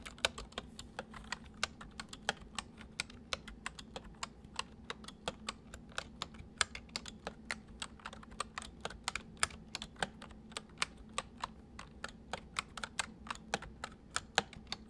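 Fingertips of both hands type steadily on a white, full-size plastic mechanical computer keyboard. A rapid, continuous run of short, sharp, bright key clicks dies away almost instantly over a faint steady low hum.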